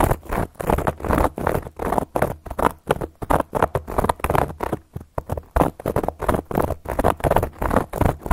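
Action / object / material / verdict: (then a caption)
scrape / cork board scratched with metal nail caps / cork / none. Long gold metal claw nail caps scratch and tap across a round, flat, solid cork board in a rapid, uneven series of short bursts. The sound is dry and muffled, centered in the midrange with a low rumble beneath, and each stroke stops almost instantly with no ring.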